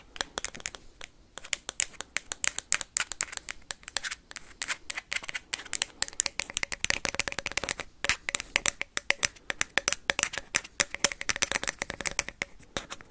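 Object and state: Hollow plastic ping pong ball.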